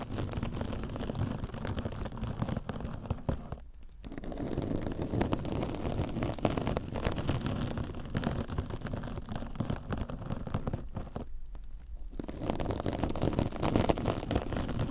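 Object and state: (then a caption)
Metallic scouring sponge. A silver metallic-fibre mesh kitchen scrub sponge, soft and compressible, is held against a microphone ear and scratched with long orange nails. The result is a dense, continuous low crackling and rustling that drops out briefly twice.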